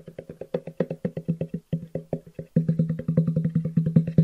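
A long, hollow black cardboard box with white edges is held horizontally and tapped with the fingertips, producing 34 quick, hollow thuds with a low, drum-like pitch. The taps start soft and fairly even, pause briefly, then turn louder and faster in a dense run for the last couple of seconds.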